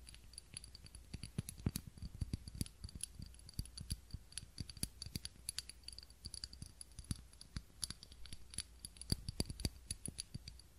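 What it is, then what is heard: Glass candle holder. A small ribbed glass candle holder, filled with wax and holding a lit candle, is held in both hands and tapped and scratched with long fingernails. The result is a quiet, rapid, uneven stream of short, dry clicks and ticks, with faint bright scratchy textures over a low hum.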